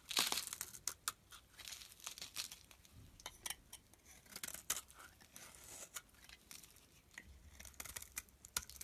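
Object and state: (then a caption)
Soap bar being scraped. A solid olive-green soap block held in the palm has its surface scraped with a utility knife blade. A quiet, rapid series of short, bright, crackly scraping strokes is heard, each with a crisp, papery crunch and almost no low end.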